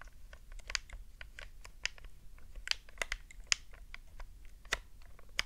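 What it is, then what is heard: Plastic game controller. Long glittery nails tap and click the face buttons and tap the shell of a hollow, black hard-plastic Nintendo GameCube controller held on a fluffy rug. A rapid, irregular stream of dry, bright plastic clicks and ticks is heard, with several sharper louder taps standing out over a faint low background rumble. Each sound stops almost instantly, with no ring.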